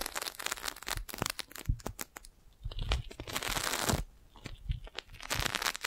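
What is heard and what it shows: A clear, crinkled, thin, hollow plastic magic balloon bubble about the size of a fist is held beside a microphone. It is tapped with long nails and then pressed with the hand on top of the microphone. Rapid sharp crinkling taps with low thumps give way to a sustained rustling, crackling crush, followed by more quick crinkly taps.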